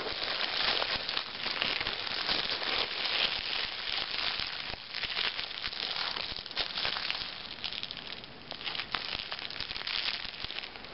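Thin clear plastic shrink wrap, crumpled into a ball, is rubbed between fingers with red-painted nails above a brand new Self Magazine lying untouched below. The result is a dense, continuous, bright crinkling crackle that holds a fairly steady level throughout, with almost no low end.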